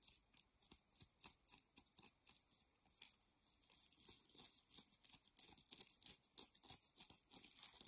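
Long painted nails and fingertips scratch and crinkle a soft, gathered, palm-sized white nylon plastic-mesh shower puff (loofah). Quiet, dry, bright scratchy crinkles come in quick, uneven bursts about three times a second, with almost no low end and very short decay.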